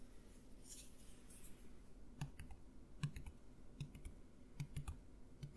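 A clear plastic Listerine bottle, about two-thirds full of green liquid, is held upright in both hands and tapped with the fingernails. After a quiet stretch of faint bright hiss, sparse, irregular taps follow. Each is a short, dull low thud with a crisp bright click on top that dies away almost at once.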